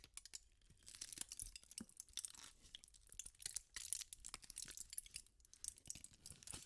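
A thin sheet of aluminum foil is crumpled and twisted by fingertips with pink nails. It makes dense, quiet crackling and crinkling with sharp, bright snaps that stop instantly, over soft rustling. The bursts come in irregular waves throughout.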